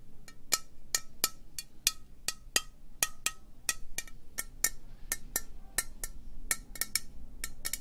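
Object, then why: Metal aerosol spray can. Long nails tap slowly on a hollow green metal aerosol spray can with a white cap, making a steady run of separate, bright, clicky metallic ticks. Each tap is sharp and dies away almost at once, with a faint low rumble underneath.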